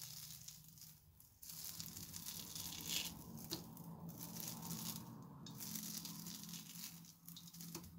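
A metal knife blade scrapes and peels strips off the edge and top of a large, round, solid slab of soft, water-soaked mushy soap, white with teal streaks, held in both hands on a countertop. A continuous wet, crackling scrape with bright, hissy texture over a low hum, with a few sharper clicks along the way.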